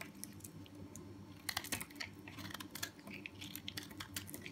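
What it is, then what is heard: Soap bar scraped with a knife. A small metal knife with a blue handle scrapes and cuts the edge of a hand-held solid yellow soap bar, shaving off crumbly flakes and powder. Quiet, bright, dry crackles and scratchy crunches come in quick, uneven bursts, densest and loudest about midway through, over a faint steady low hum.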